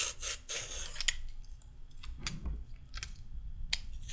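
A raw carrot stub is scraped with a pink-handled peeler, held in the hands above the peel pile. Quick, bright rasping scrapes come in bursts over a low, soft rumble, with short sharp clicks and no lingering ring.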